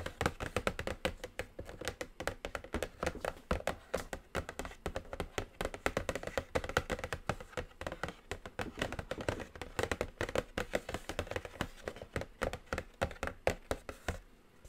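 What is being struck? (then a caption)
Cardboard makeup palette box. Long acrylic nails tap continuously on a flat, hollow, medium-size black cardboard eyeshadow palette box lying on a table. The taps come as a rapid, steady stream of short, dry, hollow knocks with a mid tone around 535 Hz and almost no ring. Some low thump sits beneath the clicks for the whole clip.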